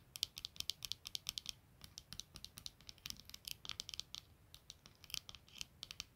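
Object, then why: Plastic-framed eyeglasses. Long nails quickly scratch and tap across the clear lenses and black plastic frame of a pair of eyeglasses lying on a blanket. The result is a quiet, irregular stream of dozens of rapid, bright, dry clicks and short scratches, each dying away instantly with no ring or low-end body.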